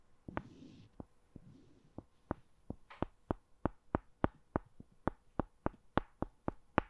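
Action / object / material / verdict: strike / two small wooden balls / wood / none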